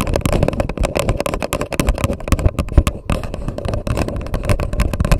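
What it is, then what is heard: Paper coffee cup tapped and scratched with nails. Long nails on both hands tap and scratch the paper wall of an empty grey paper cup set upside down over a microphone. The result is a rapid, hollow, bassy patter of taps mixed with scratchy rustling, with a brief lull around the three-second mark before the tapping resumes.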